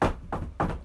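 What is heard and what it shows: Knuckles knock on a wooden surface "for luck," possibly cherry wood. Three dull, low thunks land about 0.3 seconds apart, each fading quickly with little brightness.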